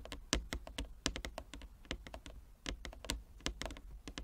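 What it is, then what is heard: Wooden chess board. Fingernails tap quickly with both hands on a large flat wooden chess board with inlaid squares. The result is a rapid, uneven run of crisp, bright clicks, each dying away almost instantly, over a low steady rumble.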